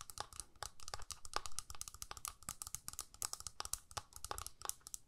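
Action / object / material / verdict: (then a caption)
tap / plastic eyeshadow palette lid / plastic / none. Long nails rapidly tap and scratch the clear lid of a small, hollow plastic eyeshadow palette held close up. The result is a dense run of quick, dry, bright clicks with scratchy crinkling, each tap dying away almost at once. A faint hollow tone sits around 1.2 kHz.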